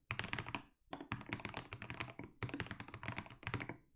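Both hands type steadily with their fingertips on a 60% mechanical keyboard with SA plastic keycaps and a white case. Quick, deep, thocky key clacks with short, dry decay run in dense bursts, pausing briefly near the start before continuing.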